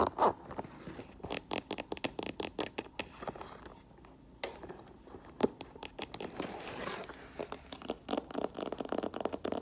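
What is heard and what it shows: Long nails tap and scratch the smooth upper and side of an olive faux leather lace-up boot with a black rubber platform, then the boot is turned over and its black rubber tread sole is tapped. The result is a dense run of quick, dry clicks and light scraping, with brief pauses between bursts.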